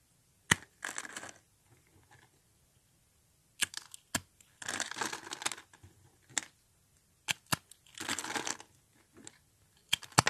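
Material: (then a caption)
Soap. Hollow rolled tubes of thin, dry pink soap are crushed and broken with fingertips. Sharp, brittle snaps alternate with short bursts of bright, crackling crunch, separated by near-silent pauses. The pieces crumble apart with a dry, crisp texture and little low end.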